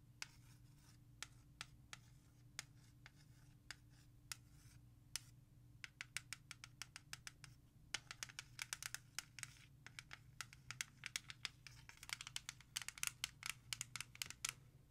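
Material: Plastic.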